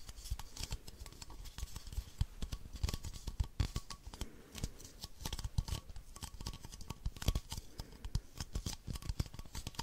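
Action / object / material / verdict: tap / plastic baby bottle / plastic / none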